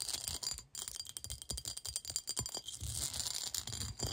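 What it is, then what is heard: Cut glass bowl. Long acrylic nails rapidly scratch and tap the patterned surface of a clear, textured, hollow, empty cut-glass bowl held on a lap. The result is a dense run of bright, crisp scrapes and quick clicking taps with a high glassy sheen that cuts off almost instantly, over faint low thumps.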